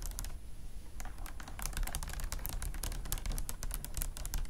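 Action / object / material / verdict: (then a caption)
tap / beaded bag with faceted glass or acrylic beads / beads / none. Long nails tap and scratch quickly across the faceted glass or acrylic bead flowers of a vintage beaded clutch lying flat on a fluffy mat. A dense run of sharp, bright clicks and scratchy ticks sits over a steady low rumble, with only a short quieter gap near the start.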